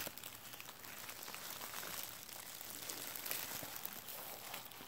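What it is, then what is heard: Plastic bubble wrap being crinkled. A large clear plastic bubble wrap sheet with hollow air bubbles is crinkled and squeezed between the fingers of both hands. The result is a quiet, continuous bright crinkling and crackling, mostly in the high range with little low end, lasting the whole clip.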